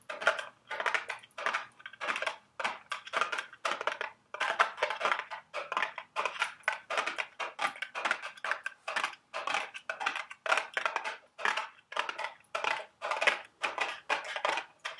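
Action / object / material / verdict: scrape / small cardboard candy box / cardboard / none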